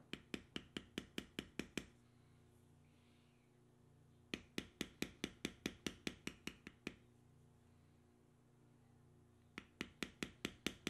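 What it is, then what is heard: Vegetable-tanned leather being tooled. A metal beveler held in the fingertips is struck repeatedly to tap down a carved, tan vegetable-tanned leather strip resting on a stone slab. There are 29 sharp, dry taps with almost no ring, in three quick bursts separated by quiet pauses. A faint, steady low hum runs underneath.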